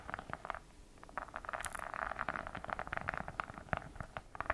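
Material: Faux leather.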